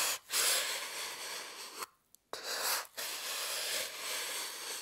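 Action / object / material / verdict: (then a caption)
scrape / styrofoam block / styrofoam / none. A small pointed metal tool scratches lines into the top of a rectangular, solid white styrofoam block held steady in the other hand. The result is a bright, airy, hissing scrape with almost no low end, heard as long strokes broken by brief dips and a short near-silent pause midway.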